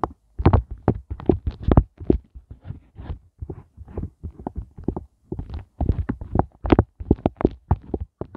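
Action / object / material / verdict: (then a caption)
tap / silicone ice cube mold / silicone / none. Fingertips with glittery nails tap and scratch the hollow heart bumps of an empty, inverted pink silicone heart ice cube tray. The result is a fast, irregular run of soft, dull taps with muffled, low, thumpy bodies and short scratchy brushes between them. Each hit dies away almost instantly, leaving no ring.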